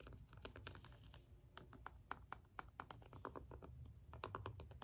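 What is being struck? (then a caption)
Plastic remote with rubber buttons tapped with a small stone. The rubbery buttons of a small hollow plastic LED remote are pressed and tapped with the end of a small green jade stone roller. A rapid, uneven series of short, dry clicks and taps is heard, each with a bright attack centered around 1.4 kHz that dies away almost instantly over a low, soft rumble.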